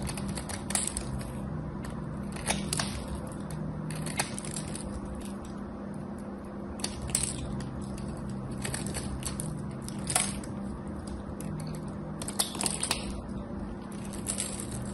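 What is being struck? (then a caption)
Bar of soap. A craft knife cuts and scrapes a solid cream soap bar, breaking off crunchy chips. Sharp, bright crunches and scraping sounds come in irregular bursts over a steady low hum.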